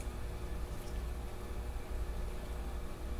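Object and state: Nothing is struck.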